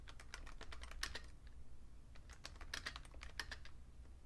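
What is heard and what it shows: Fingertips with short painted nails tap the keys of a vintage beige plastic Fujitsu Siemens full-size keyboard with a hollow case, lying on a red cloth. Quick, bright, clicky keystrokes arrive in two bursts of typing separated by a brief pause, each tap dying away almost instantly over a steady low hum.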